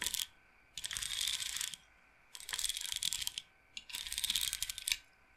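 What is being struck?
Wooden bead roller massager.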